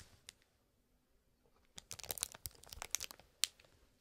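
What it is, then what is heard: Cellophane-wrapped cardboard box. A small cellophane-wrapped cardboard toy box is held in the hand while fingertips scratch and tap its plastic-covered surface. After a near-silent opening with a few faint isolated ticks, a dense run of bright, crisp crinkling scratches and sharp taps starts, with a last sharp tap before it fades out quietly.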